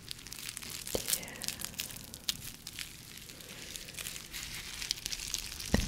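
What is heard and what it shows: An empty, hand-sized, clear bubble-textured plastic packaging sleeve is squeezed and scratched with long nails. It makes a steady, bright crinkling and crackling, with sharp little ticks and scratchy swipes scattered throughout. A few louder crunches stand out, the last near the end.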